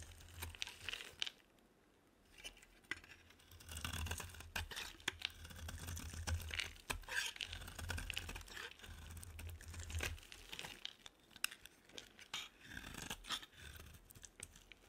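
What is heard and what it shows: A utility-knife blade carves and scrapes the edge of an oval, solid, olive-green bar of dry soap held in the palm, shaving it into flakes. Dense, crisp scraping and crackling clicks run throughout, bright and dry over a low rumble, with a brief quieter pause near the start.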